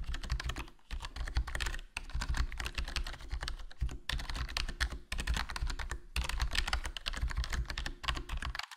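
Fingertips type continuously on a HyperX Alloy Core RGB plastic membrane gaming keyboard with a foam mod, a hollow black plastic case and black plastic keycaps. The result is a dense stream of short, soft, low-heavy thocks with a light clicky top and almost no ring, broken by brief pauses roughly every second or two.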